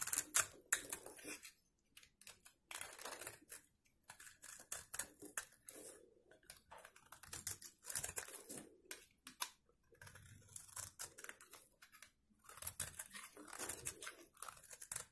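A solid rectangular bar of dry white soap is held in one hand while a teal-handled box-cutter blade scrapes and carves its face, piling flakes up below. The sound is a series of dry, crisp, bright scratching bursts in irregular short runs, separated by brief pauses.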